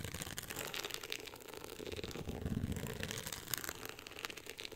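Long acrylic nails scratch and tap the woven-texture beige cover of a closed hardcover book lying flat on a pink fur rug. A steady, dense, dry scratching rasp with bright crisp texture and quick light taps runs throughout, with a low rumble swelling briefly in the middle.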